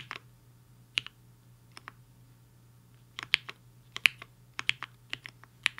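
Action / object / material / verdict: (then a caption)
tap / mechanical keyboard with plastic keycaps / plastic / none. Fingertips of both hands type on a HI-FINGER 7.5, a black-cased, hollow-case 75% mechanical keyboard with white and pink plastic keycaps resting on a desk mat. About 14 short, bright, crisp key clacks come at an uneven pace, some in quick pairs and clusters, separated by quiet gaps over a faint low hum.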